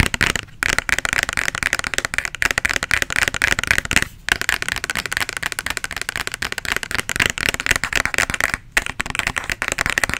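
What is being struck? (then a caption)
Plastic bottle, partly filled. A medium plastic bottle with a white label, partly filled with red liquid, is held close to the microphone and tapped and scratched with fingernails. The result is a dense stream of rapid, crisp clicks and scratchy rustling, bright in tone with almost no ring. It is broken by a few brief pauses.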